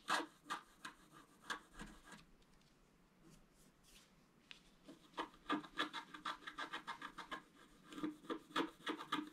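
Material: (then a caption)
Coated paper. A wooden stylus scratches the black coating of a scratch-art paper card on a table, working in the fountain basin area of the picture. Quick, dry, raspy strokes come in bursts with bright edges, ease into a quieter stretch in the middle, then return as a dense run of sharp scratches.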